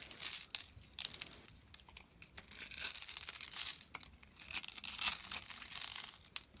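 A palm-sized, solid, rectangular dark brown soap bar is held in one hand and scraped across its surface with the blade of a utility knife, scattering soap flakes onto the table. The scraping comes as a run of dry, crisp, crinkling rasps in uneven bursts with sharp peaks, almost entirely bright and high with no low end.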